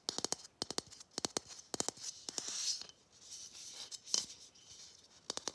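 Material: Plastic.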